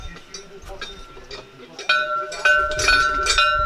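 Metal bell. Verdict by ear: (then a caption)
Loose. A metal bell being set up on a medieval site is struck several times, first with faint taps and then with sharper clanks, each giving a bright tone around 1.5 kHz. The tone dies away in under a second instead of ringing out. The bell does not ring properly because it has play in its fitting and is not tightened enough.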